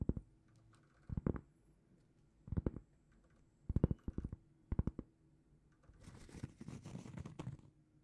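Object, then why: Cork trivet. A large, flat, solid round cork trivet is held in both hands and tapped and scratched with long painted fingernails. Short clusters of quick, dull, low taps come in bursts. A longer, softer stretch of scratching near the end follows, with no ring after each tap.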